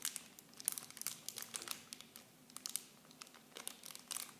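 Clear plastic film packaging around small Nivea bottles is crinkled and squeezed with fingertips and long blue nails. A quiet, bright, rapid series of sharp crackles and crinkles is heard, almost all high in pitch with almost no low end, and each snap dies away instantly.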